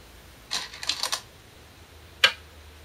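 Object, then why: Glass go stones on a shinkaya wood board. Glass stones are placed onto a shinkaya wood floor go board, giving sharp, bright clicks of glass on wood. A quick cluster of clicks comes early, then after a pause one louder, crisp click rings out briefly before fading.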